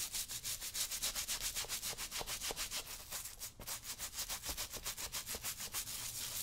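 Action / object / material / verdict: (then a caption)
scrape / leather work boot brushed with a stiff-bristle brush / leather / none. A small stiff-bristle brush with a wooden handle is rubbed vigorously over the saddle-soap-lathered leather upper of a brown leather work boot worn on a foot. It makes a rapid, steady back-and-forth scrubbing of bright, hissy bristle strokes, about three per second, with a brief pause near the middle.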